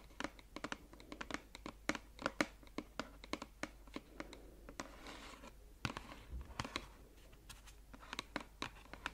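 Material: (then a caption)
Cardboard. Long acrylic nails scratch and tap on a small, closed, red printed cardboard bath-product box held close to the mic. It makes a quick, irregular run of dry, crisp clicks and taps with very short decay. A softer stretch of papery scraping sits between the sharper hits.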